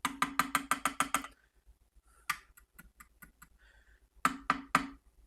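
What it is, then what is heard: Amplifier valves seated firmly, no crackle when tapped. The valves of a Gibson tube amplifier, fitted with new sockets and spring retainers, are tapped with the volume on full. A quick run of sharp, hollow knocks with a ringing tone is followed by fainter taps and then three more firm knocks, all coming through clean with no crackle. The noise, which had come from a broken pin on a socket, is gone.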